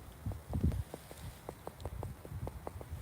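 A stone block carrying a carved mason's mark, set in the wall of the ruined 12th-century Dryburgh Abbey in the Scottish Borders, is knocked on about nine times. Each knock gives a dull, low thud that dies away almost at once, with a louder, muddier patch near the start.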